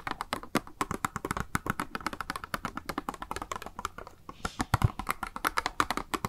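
A small, hollow, clear pink plastic cube blister package with a makeup sponge inside is held in the hand and tapped rapidly with long nails. The result is a steady stream of dry, hollow clicks and taps, each stopping almost at once, with a few louder knocks near the end.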